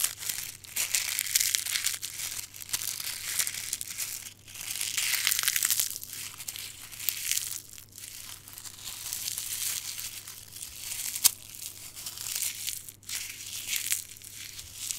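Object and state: Dried rose heads, dry and brittle.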